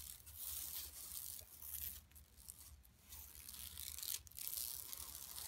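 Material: Woven plastic.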